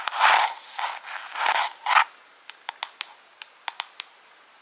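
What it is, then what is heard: Plastic jar, scratched and tapped with fingernails. Long pink acrylic nails scratch a small, hollow clear plastic jar decorated with rhinestones, held in one hand, in four raspy, hissing bursts. The nails then tap the jar nine times with crisp, bright clicks that ring only briefly.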